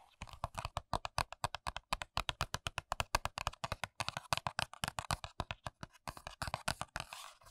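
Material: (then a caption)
Paperboard. Long nails tap and scratch the top edge and side panels of a small, hollow Kiss press-on nail paperboard box held in the hands. About fifty quick, crisp taps follow one another in a steady, uneven rhythm, each a short dry click with a hollow mid-range tone around 1.1 kHz and a soft low thud. The taps turn into brighter, scratchy strokes near the end.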